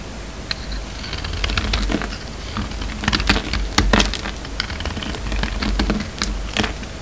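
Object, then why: Bar of soap cut with a knife blade. A hand-held solid white soap bar with red and blue coating remnants is carved and scraped with a utility knife blade. Quick, crisp scraping clicks and bright crackles come in an irregular stream over a low, steady rumble, with a few sharper cuts standing out in the middle.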